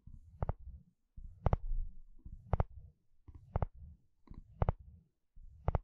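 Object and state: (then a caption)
Plastic wide-tooth comb. A wooden spatula strums and scratches across the long, wide teeth of a blue plastic comb. Each stroke gives a low, rumbling scrape that ends in a sharp, bright click, repeating at a slow, uneven pace with short silent gaps between strokes.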